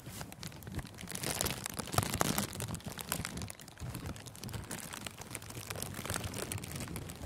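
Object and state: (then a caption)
Crinkling cellophane wrap. Thin, clear plastic cellophane gift wrap stretched over a furry microphone windscreen is crumpled with the thumb and fingers. It makes a dense, continuous crinkling and crackling with bright, sharp snaps over a soft low rumble. The crinkling swells loudest around two seconds, briefly quiets just past three and a half seconds, then carries on at a steady level to the end.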